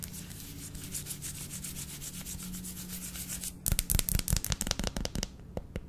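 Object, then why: Dark chocolate bar. Long lilac nails rub and scratch across a flat, solid dark chocolate bar held horizontally. A soft, steady rubbing hiss over a low hum runs for about three and a half seconds, then gives way to louder, crisp scratching strokes.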